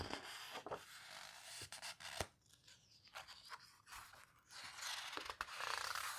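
An open paper photo book has a page flipped, and fingertips squeeze the page edges. Soft, bright, papery rustles and crinkles are broken by short, sharp ticks and snaps at an uneven pace. The sound is quiet, with very little low end.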